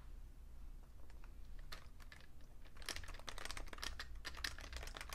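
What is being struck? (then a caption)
Plastic computer keyboard. Fingertips tap quickly across a vintage beige plastic Fujitsu Siemens full-size keyboard with a hollow case. The typing produces short, bright plastic clicks that die away almost instantly over a steady low hum. The clicks grow denser and louder in the second half.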